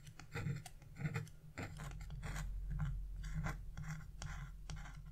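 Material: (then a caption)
Wax-coated paper. A chisel tip scratches small strokes into the black coating of a wax-coated scratch-art paper page near the bird's wing, flaking off debris. Short, dry, raspy scratches come in quick uneven bursts over a steady low hum.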